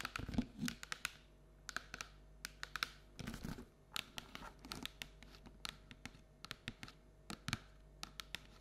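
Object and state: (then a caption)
Paperboard treat bucket. Long nails tap quickly on the printed wall of a hollow paperboard Halloween treat bucket standing on a table. The result is a dense run of short, dry, clicky taps with bright papery edges, scattered with brief scratchy crinkles and a few fuller, hollow thumps.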